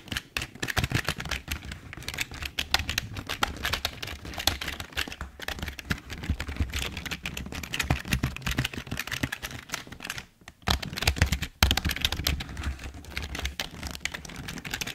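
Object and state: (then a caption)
Plastic computer keyboard being typed on. Fingertips type steadily on the keys of a full-size, hollow black plastic Logitech keyboard. The result is a dense run of quick, bright clacks, each over a low, hollow thump, with very short decay. The typing breaks off briefly around the ten-and-a-half and eleven-and-a-half second marks before resuming.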